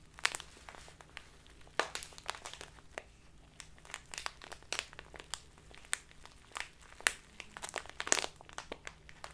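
A full, clear plastic Biotta tea bag of loose tea is held upright, then sideways in both hands, and squeezed and crinkled with the fingertips and long nails. Dense, bright crinkling and sharp crackling snaps come in quick bursts, with a faint steady low hum underneath.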